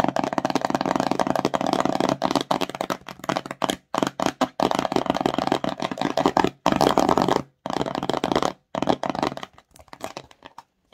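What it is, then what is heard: Empty cardboard box. Long nails tap and scratch quickly across a small, empty, glossy cardboard slime box, making hollow, papery clicks and rasps. The sound comes in dense bursts with short silent gaps, mostly midrange and thinning into sparser taps near the end.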